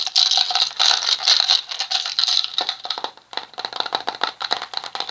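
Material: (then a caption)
Plastic. A small, round red plastic cosmetic jar with a lid is turned in the hands while fingertips and nails tap and scratch its surface. Dense, bright, rattly clicks and scrapes fill the first three seconds, then drop briefly before resuming as quicker, more separate taps. Each tap is dry and dies away almost at once, with no low end.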